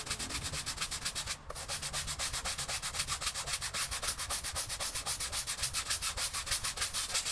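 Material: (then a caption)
Textile. A small patterned pile rug covered in soap foam on a wet floor is scrubbed with a green bristle push broom on a long handle using vigorous back-and-forth strokes. Rapid, bright, bristly swishes repeat in a steady rhythm, with a brief pause near the start before the scrubbing resumes.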